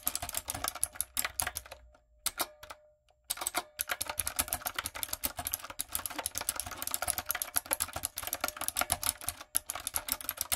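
Fingertips with long acrylic nails type on a light-up, typewriter-style mechanical keyboard with round plastic keycaps. The result is a fast, steady stream of sharp, bright plastic clicks with very little low end and almost no ring, and a brief pause partway through before the typing resumes.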